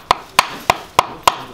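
A new genuine Kia steel and rubber crankshaft damper pulley is struck five times for comparison with a worn one. Each strike is a short, dry knock centered near 1 kHz that dies away almost at once, and the new pulley sounds normal.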